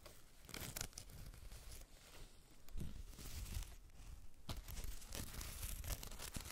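Long red acrylic nails scratch across a small, soft, white fluffy faux-fur makeup bag, closed and holding items, and over its canvas label tag near a metal ring. The result is a steady, dry, crackly rustling with repeated scratchy bursts that swell and fade.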